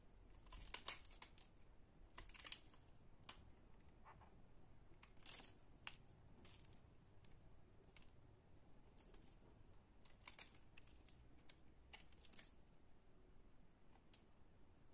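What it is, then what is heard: Bar of soap being cut. A solid pale green bar of soap, mostly stripped of its purple layer, is scored into a grid with a utility knife, and the cubes are scraped off in a crumbly cutting action. Quiet, brittle crackling and sharp, bright scraping bursts come in irregular clusters over a low, steady background.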